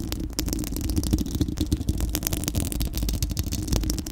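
A bare, round steel-mesh microphone grille with a hollow dome is scratched by long acrylic nails from both hands. The clip is a continuous, dense scraping rustle with a strong low rumble, crossed by many quick, bright scratchy strokes that come and go without pause.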